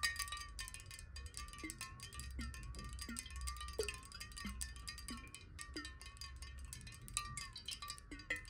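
Long nails tap rapidly on a clear square glass bottle partly filled with water while it is tilted in the hands. The taps make a fast stream of bright, sharp clicks over a steady glassy ring near 1.85 kHz and a lower tone that wavers as the water shifts, with a soft low rumble underneath.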